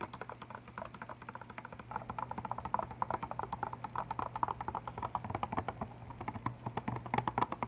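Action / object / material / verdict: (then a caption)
tap / plastic and cardboard marker box / plastic, cardboard / none. Fingertips and nails tap quickly on an Arteza chalk marker box full of markers, with a clear plastic top and a cardboard front, held close. A rapid, continuous run of short, dry, clicky taps centered in the midrange sits over a faint steady low hum.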